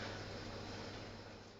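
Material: Nothing is struck.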